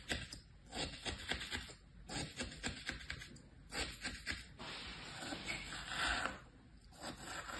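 A thin pointed tool scratches stripes into flattened kinetic sand in a green plastic tray, with some fingertip contact on the sand. The result is quiet, dry, gritty scraping and rubbing, a run of short bright rasps with a longer steady scrape near the middle.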